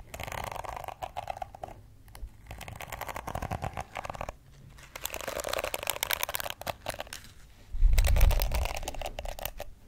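Long red acrylic nails scratch and tap across the many flexible plastic bristles of a hand-sized pink plastic detangling brush with a hollow back, held in one hand. Bursts of dry, crackly scratching and quick taps come in uneven runs separated by short quiet gaps. Near the end the sound turns louder and fuller, with a low, thumping body under the bright crackle.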